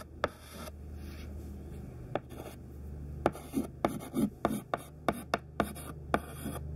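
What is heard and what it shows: A thin white stick of classroom chalk, held in the fingertips, writes list words on a black chalkboard. Thirteen sharp taps stand out over soft scratching strokes, with a steady low hum underneath. Each tap is short and dry with almost no ring.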